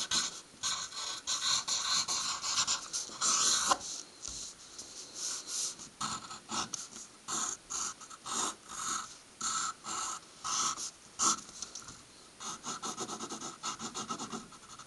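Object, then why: Graphite pencil on a stack of paper. A graphite pencil is dragged across a flat stack of white paper on a wooden table, writing letters and drawing stars. Bright, dry scratching comes in short, quick strokes with a steadier stretch of continuous scribbling at the start. There is no low rumble, and each stroke stops almost instantly.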